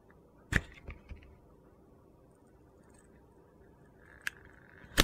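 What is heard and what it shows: A utility knife slowly shaves thin curls off a solid orange soap bar with pink glitter. Sharp, bright crunchy clicks stand out, with a couple of softer ticks early on, over a low, quiet background. A faint gritty scraping rises near the end before a final loud snap.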